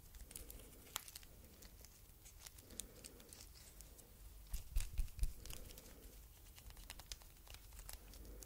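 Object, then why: Faux leather strap bracelet with a metal stud. A thin red faux leather strap bracelet printed "I LOVE YOU" with a metal stud is held in both hands while long red nails scratch and bend it. The result is quiet, irregular crinkling and scratching with sharp bright ticks and a low rumble underneath, and a few louder clicks stand out near the middle.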